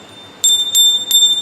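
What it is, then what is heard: Brass hand bell with a free-swinging clapper, in good order. A brass temple hand bell, open inside with its clapper swinging freely, is rung three times, giving bright, clear rings with a high pitch and shimmering overtones. It sounds right, a good bell, unlike one whose clapper sticks.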